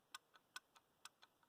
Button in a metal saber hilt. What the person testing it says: That's a lot of wiggle